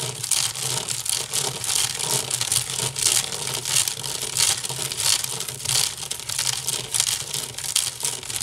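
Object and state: Wicker basket scratched.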